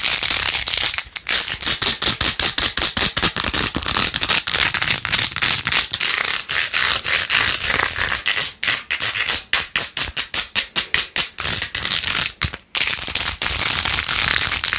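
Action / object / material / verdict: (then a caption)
scrape / plastic phone case with faux-pearl beads / plastic / none. Long nails scratch fast across the pink faux-pearl beads and rose-gold plastic rim of a jeweled phone case. The result is a dense run of bright, crackly scraping strokes in an uneven rhythm, with short gaps between bursts and almost no low end.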